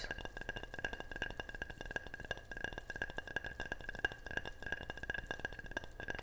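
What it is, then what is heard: Ceramic object tapped. A ceramic object is tapped repeatedly in a quick, steady run of light, bright clinks. Each tap has a clear ringing tone around 1.6 kHz that dies away almost instantly, over a soft low background.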